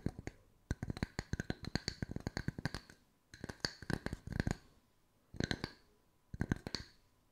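Two matching small round solid wood slices, tree slice coasters held one in each hand, are tapped and scratched with long white nails. Rapid dry clicks and taps come in four bursts separated by short pauses, each hit dying away almost instantly. Each tap has a low woody knock underneath and a bright, hard edge on top.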